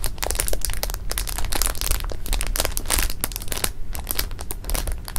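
Fingertips and nails press, rub and squeeze through the thin film of a flat, rectangular clear plastic bag full of jelly beans lying on pink fabric. Dense, continuous crinkling and crackling with many quick, bright clicks rides over a steady low rumble, with no pauses throughout.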